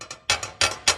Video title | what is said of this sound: Building The Little Sliver - Ep. 4 - Rigid TS3650 Table Saw Cleaning and Tuning | you can hear that it rattles when I tap this back corner